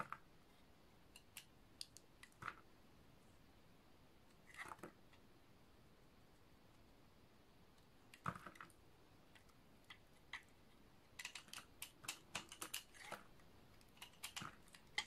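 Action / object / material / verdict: scrape / bar of soap / soap / none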